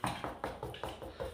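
Six knocks on a wall where a rotting beam sits behind it give short, hollow, low-pitched thuds with a quick ring. The wall is hollow, with a void behind it and no insulation.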